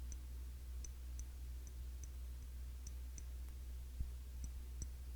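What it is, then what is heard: Glass cologne bottle. Fingertips tap on the glass body of a Classic Match clone of YSL Y cologne bottle. Light, irregular, bright clicking ticks come and go over a steady low hum. Each tap is short and dry, with no ring.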